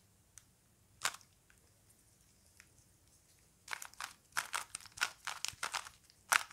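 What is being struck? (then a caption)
Plastic puzzle cube. A small solid-core plastic Rubik's cube with colored stickers is held in both hands while its layers are twisted and clicked with fingertips. A few sparse, sharp plastic clicks come first, then a rapid run of bright clicks and scrapes, each dying away almost instantly.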